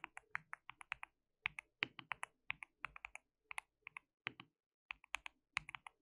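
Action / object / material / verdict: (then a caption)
tap / plastic mechanical keyboard / plastic / none. Fingertips of both hands type on a white plastic mechanical keyboard with translucent keycaps. The result is bursts of short, dry, bright clicks centered around 2 kHz, separated by brief pauses. Each keystroke stops almost instantly, with very little low end.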